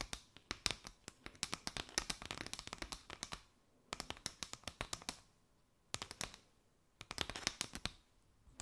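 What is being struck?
Paper straw mat.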